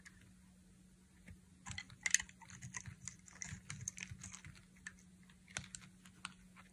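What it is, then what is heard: Dry bar soap being shaved. A dry, solid pink bar soap held in the hand is sliced and shaved with a utility knife blade. Quiet, crisp scraping and crackling cuts come in irregular bursts, mostly bright and high, with a few sharper snaps. Some blade strokes stand out more strongly than the rest.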